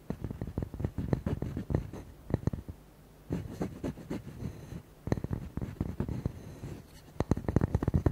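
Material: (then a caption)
Wood. Fingertips and nails rapidly tap and scratch the flat face of a round, hand-span-wide solid wood log slice with a bark edge, held in both hands. The dull, low-pitched knocks are clipped and dry, mixed with soft scratching. They come in quick bursts separated by brief pauses.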